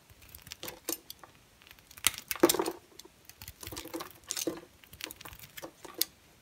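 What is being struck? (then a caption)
Bar soap carved with a blade. A large, solid, square pale green bar of dry soap with embossed lettering is carved with a utility knife blade. Dry, crisp chunks come off it. The result is a series of short, scratchy scraping and crunching bursts with bright edges and very little low end.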